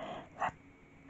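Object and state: Nothing is struck.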